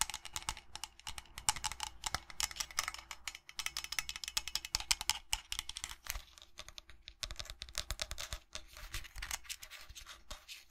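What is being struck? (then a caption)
Resin tankard with steel lining and rim. Fingernails tap rapidly on a steel-lined resin tankard, moving between its body and its steel rim. The result is a dense stream of short, dry, bright clicks that die away almost instantly, over a faint steady low hum.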